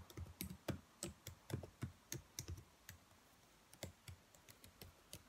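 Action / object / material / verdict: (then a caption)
tap / plastic laptop keyboard keys / plastic / none. Long white-painted nails and fingertips tap and type on the black plastic keys of a laptop keyboard, hollow key caps set on a thin chassis. The result is a quiet, irregular run of short, dry clicks, each with a soft low thump and a bright tick that dies away almost at once, with a brief lull near the middle.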